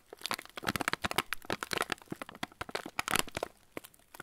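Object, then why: Plastic-film cracker packet. A full yellow plastic-film TUC cracker packet is held and tilted while fingertips rub and squeeze the wrapper. This makes a dense run of sharp, bright crinkles and crackles that die away almost instantly. The crinkling is busiest through the first three and a half seconds, then thins to a few last isolated crackles.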